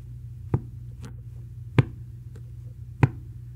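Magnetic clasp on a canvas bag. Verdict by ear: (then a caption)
Strong. The main magnetic clasp on a canvas Dior Saddle Bag, with the magnet hidden behind the logo tape, is snapped shut three times. Each closure makes a short, dull, low-pitched click with almost no ring, against a steady low hum. The firm snap marks it as the bag's stronger magnet and main closure.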